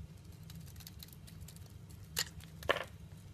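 A metal cutter blade slices and scrapes thin strips off the surface of a solid olive-green olive oil bar soap held in the hand. Soft, faint scraping crackles run over a low rumble, broken by two sharper, brighter cuts near the end.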